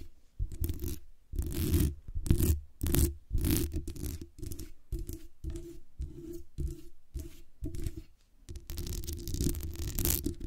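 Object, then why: Metal microphone body and mesh grille. Long nails tap the metal base and body of a black USB condenser microphone, then scratch across the hollow metal mesh grille on its top and sides. Irregular bursts of scratchy, rustling friction repeat in quick succession, with a heavy low-frequency thump beneath each stroke and brief bright hiss at the edges.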